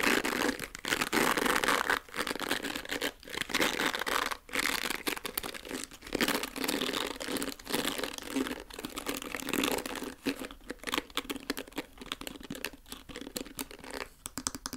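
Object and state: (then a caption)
Plastic hair brush bristles. A pink plastic hair brush with dark bristle tufts has its bristles scratched and flicked by fingernails. The result is a steady, dense run of dry, crinkly scratching and clicking that sits mostly in the mid and high frequencies, with brief pauses between bursts.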